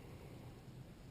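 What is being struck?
Nothing is struck.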